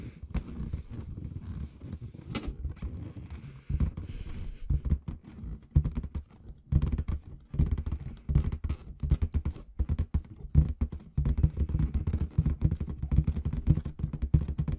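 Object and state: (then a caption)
Latex balloon with confetti inside. Long red acrylic nails tap and scratch the surface of a large inflated clear latex balloon with confetti inside, held against the camera. The result is a dense run of soft, dull, low thumps and rubbery rubbing, with short brushy scratches between them and almost no bright content. The taps die away quickly and come in uneven bursts with brief pauses.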